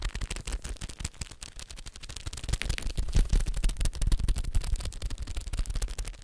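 A blue Pringles can made of cardboard with a foil-lined wall, a hollow cylinder held upright, is tapped rapidly with the fingertips and nails. The taps come in a quick, uneven patter of short, dry hits with a deep, hollow low thump. They grow louder through the middle of the clip before easing slightly.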